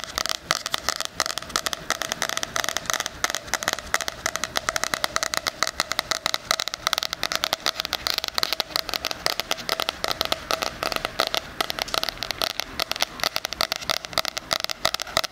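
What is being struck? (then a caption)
Cardboard-covered planner with metal spiral. Fingernails tap and scratch the front cover of a floral "Life is Beautiful" 2020 hardcover cardboard planner with a metal spiral, held close to the microphone's ear. A steady stream of rapid, crisp taps and crackling scrapes fills the clip, bright and dry with almost no low end and no ring after each touch.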